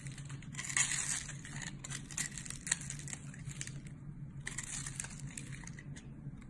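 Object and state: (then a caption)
Glycerin soap bar being scraped with a blade. A box-cutter blade scrapes and cuts into the scored, grid-like face of a solid, hand-sized, translucent yellow glycerin soap bar held in one hand, shedding crumbly flakes. Bright, crunchy scraping crackles come in two dense bursts over a steady low hum, with a short quiet gap between them.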